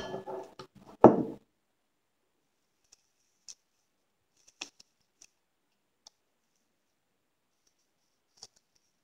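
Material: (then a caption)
Foam. A small rectangular yellow foam kitchen sponge with a dark scouring pad, frozen stiff, scored into cubes and with ice on its edge, is held in one hand and squeezed and crunched by the fingertips. A burst of dense crackling crunches peaks in one loud crack in the first second and a half. Sparse, faint, high-pitched ticks and clicks follow through the silence.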